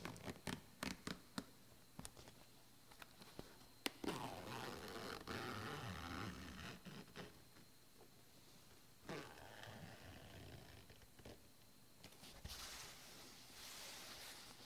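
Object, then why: Soft-sided suitcase of woven synthetic fabric. Fingertips and painted nails tap and scratch across the woven synthetic fabric front panel of a large, closed black soft-sided suitcase lying flat and packed with clothes. Sharp, quick taps come first, then give way to a longer stretch of hissy, rasping scratches that grow softer toward the end.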